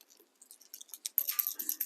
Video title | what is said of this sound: Jason Mathe of Ghost Tackle speaks at M-W Marine Fishing Seminar | you can barely hear it